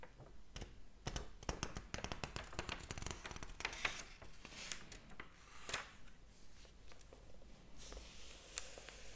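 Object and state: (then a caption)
Paper book pages. Fingers flip the paper pages of a large open hardcover book, then rub and tap them. Dry, crisp page flicks and soft rustling come in quick, uneven bursts, with bright papery swishes over a quiet background.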